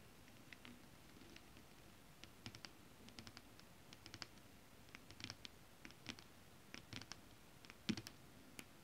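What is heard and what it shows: Long acrylic nails scratch and tap a flat sheet of shiny holographic mermaid scale-printed fabric. Quiet, bright, crisp clicks come in scattered bursts over a soft, steady hiss. Each tap dies away almost instantly, with a faint dull thump under the louder ones.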